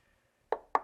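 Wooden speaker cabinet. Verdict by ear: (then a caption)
Solid. Two sharp knuckle knocks on a Starke Beta 5 speaker cabinet give short, dull, mid-pitched thuds that die away almost instantly with no hollow ring. The cabinet sounds very solid and well built.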